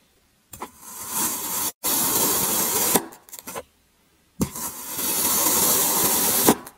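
A long serrated, grater-like metal blade slices and scrapes through a solid cylindrical block of packed grey kinetic sand resting on a white surface. Bright, gritty crunching and hissing scrapes build through each long stroke, with short crackles and brief silences between strokes.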